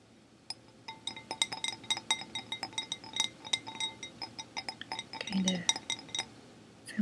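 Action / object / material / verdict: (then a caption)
flick / glass object / glass / none. A glass object is flicked again and again with light, rapid taps, giving bright, high-pitched clinks that ring around 3.8 kHz. Each clink is quick and short-lived, and the sharp strikes come in an uneven rhythm over a quiet background.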